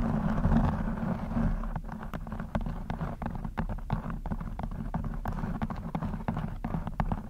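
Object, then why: Knit fabric cover over a microphone head. Long blue acrylic nails scratch a black textured knit fabric cover stretched over a rounded microphone head, soft over a hollow mesh. A dense, low, muffled rumble runs throughout, broken by many short, dry scratching clicks at an irregular pace. The louder, busier scratching at the start thins slightly toward the end.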